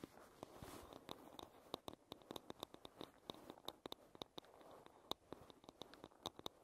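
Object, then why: Wooden paddle hairbrush. Long red nails tap and scratch along the wooden back and edge of a light-wood paddle hairbrush. Quick, dry clicks with almost no ring sit over a soft, steady scratching hiss that swells and fades, and the taps are bright and sharp.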